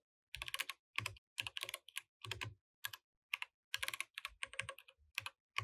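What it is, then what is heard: Plastic mechanical keyboard. Fingertips type continuously on the plastic keycaps of a compact mechanical keyboard. Quick bursts of bright, dry clacks come in rapid clusters separated by brief pauses, with a faint low thump under each keystroke and almost no ring after each hit.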